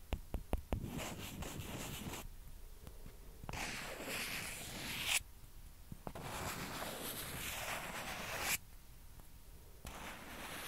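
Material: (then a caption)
Plastic. Two small, hollow, white plastic ping pong balls, one held in each hand, are tapped against each other with long painted nails and fingertips. A quick run of sharp, light clicks opens the clip, followed by stretches of bright, hissy scratching that alternate with brief quiet pauses.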